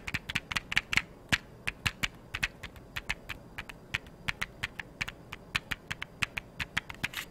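A small, hollow, blue printed cardboard matchbox held in one hand is tapped and scratched with long yellow nails. About 35 quick, sharp taps land in an irregular run, each a dry, bright click that dies away almost instantly over a faint steady hiss, with little low-end weight.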